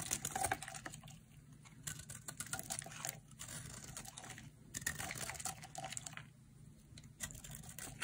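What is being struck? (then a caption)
Bar of soap. A hand-sized, solid rectangular pink-and-white bar of dry soap, held in one hand, is carved with a metal utility blade that shaves off crisp flakes. Quick, dry scraping and crackling cuts come in dense bursts with short quieter gaps, bright and crisp over a faint low hum.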